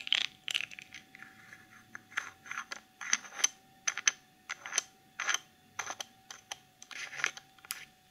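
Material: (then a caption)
Plastic. Long nails tap and scratch the sides and black plastic lid of a small clear cosmetic jar filled with dark glitter. Bright, crisp clicks and short rasping scrapes come in quick, irregular bursts with almost no ring, over a faint steady hum.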